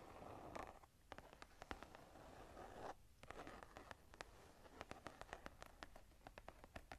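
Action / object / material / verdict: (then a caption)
scrape / leather-covered journal / leather / none. Long nails tap and scratch the cover of a smooth brown leather-covered journal, held closed and upright in the hands. Soft, rough scratching noise runs underneath a steady stream of sharp, dry taps that die away almost instantly.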